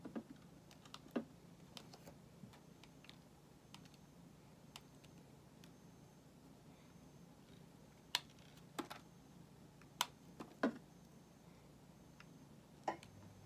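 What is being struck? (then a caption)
Bar of soap cut with a blade. A small solid white soap cube is held in the hand and carved with a metal box-cutter blade, curling off soap shavings. Sharp, bright scrapes and clicks come at irregular intervals over a quiet low hum, with a few louder cuts standing out near the end.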